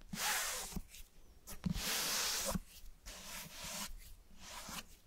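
Fingertips and nails tap and scratch the cover and spine of a closed, light-colored, medium-sized solid hardcover book held in both hands close to the microphones. Long bright, hissing scratch strokes alternate with short, dull taps that die away almost at once.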